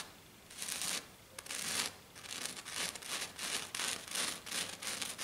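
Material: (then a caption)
Glitter. One hand with long black nails scratches a flat silver glitter-coated sheet in quick, uneven strokes. Each stroke is a bright, gritty rasp with almost no low end, and the strokes come in bursts that stop and restart without a steady rhythm.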